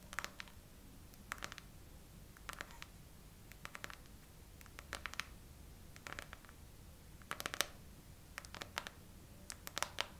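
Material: Silicone.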